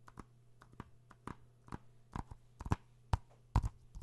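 Fingertips and nails tap on a hollow plastic PS4 game case (Uncharted) held in the hands close to the microphone. About fourteen short, dry, irregular taps are heard over a faint low hum, growing louder toward the end.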